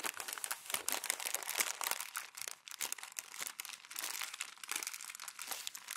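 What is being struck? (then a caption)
Glossy magazine pages. Glossy magazine pages are crumpled and pressed by fingers and palm on a white desk. A dense, continuous run of bright, crisp crackles and crinkles fills about six seconds, with almost no low end.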